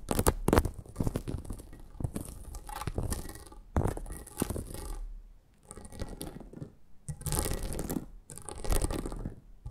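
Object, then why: Perforated plastic mat. Long acrylic nails scratch and tap across a flat red plastic mat with a lattice of holes. Dense, rough scratching bursts come in waves separated by brief quieter pauses, with quick sharp taps mixed in.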